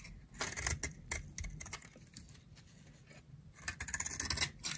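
A utility knife blade shaves a solid, dry, round pink soap held in the hand. A quick series of bright, dry scraping strokes crackles through the clip, with a quieter stretch in the middle before the strokes pick up again.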